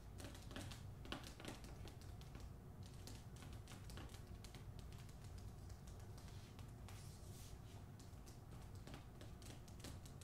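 Long nails tap quickly on the front cover of a hardcover book with a paper dust jacket, held close to the face. The taps come as a fast, dense stream of light, bright clicks over a steady low hum, at a soft, even level throughout.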